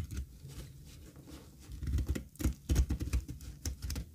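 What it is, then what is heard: Dry soap bar. A flat, solid, pale beige bar of dry soap, held in one hand over a pile of soap shavings, is shaved and scraped with a small metal utility blade in rapid repeated strokes that curl off thin flakes. The sound is a soft, dull, low patter of crumbly scrapes in an uneven rhythm, with short dry crunches and faint crisp ticks. It starts quiet and grows louder and denser in the second half.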